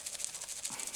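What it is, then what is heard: Container of dried dandelion leaves being shaken. A full, packaged container of dried dandelion leaves, a guinea pig supplement, is shaken so the leaves rattle inside. Seven quick, dry, bright shakes are heard, mostly high-frequency rustle with almost no low end. The container is meant to keep the contents from breaking and crumbling.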